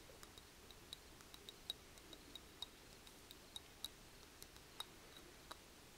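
Long painted fingernails tap the outer stone surface of a small-to-medium, hollow, grey speckled granite mortar with its stone pestle standing in it. About eighteen quiet, sharp, bright clicks sit near 3.8 kHz, each dying away almost instantly, at an uneven pace over a faint steady hiss.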